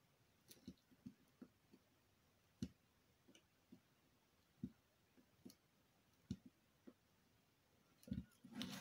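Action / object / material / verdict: scrape / bar of soap / soap / none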